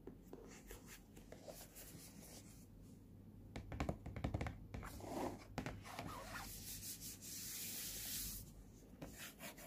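Fingertips rub and scratch the front of a small, hollow, printed cardboard earphone box, a flat hand rests on it, and a finger scratches near the price sticker. Soft, dry, irregular scratching and rubbing sit over a steady low hum, with a longer brighter hiss of scraping near the end.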